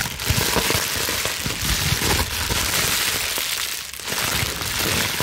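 A clear plastic bubble wrap sheet, gathered in both fists, is scrunched and crumpled by hand with long nails. The sound is a steady, dense crackling and crinkling, mostly bright and hissy, with scattered low thumps of the plastic being squeezed. It runs continuously without a break.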